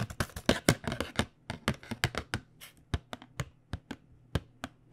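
Long fingernails tap the back face of a tilted, printed cardboard box of paint pens. A quick, irregular flurry of dry, hollow taps thins into sparser, separate clicks with brief bright edges and almost no ring. A faint low hum runs underneath.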